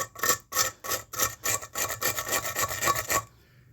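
A hammer is scraped back and forth across a concrete block to test whether it crumbles easily, a sign of too much sand and too little cement. It makes a series of rapid, dry, raspy scratching strokes that are bright and gritty, then falls quiet. The block holds up fairly well, judged "not so bad" on this scratch test.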